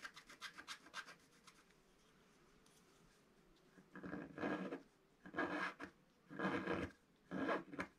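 A wooden stylus scratches the black coating off a flat scratch-art paper page. Quick, light, papery rasps open the clip, then a quiet pause, then four longer, louder scraping strokes with a dry, rough texture.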